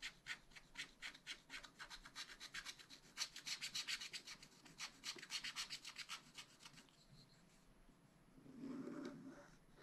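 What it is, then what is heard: Scratch-art paper sheet. A wooden stylus scratches a black wax-coated scratch-art sheet in a spiral-bound pad, making a rapid, fairly regular series of short, bright, raspy strokes. The scratching fades after about seven seconds into quieter faint rubbing, ending with a soft, lower rustle.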